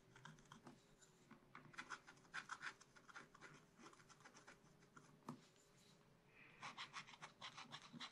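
A wooden stylus scratches leaves and a bear's ear into the black coating of a scratch-art card held in a spiral book. Quiet bursts of short, dry, bright scratching strokes come in quick clusters, with a brief lull before a final flurry, over a faint steady low hum.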